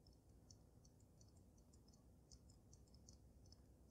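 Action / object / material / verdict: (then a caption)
tap / water-filled glass snow globe / glass / none. Long nails tap on the top of the glass dome of a water-filled dragon snow globe, making quick, light, bright clicks in an irregular rhythm. The taps sit over a steady low rumble and each fades quickly.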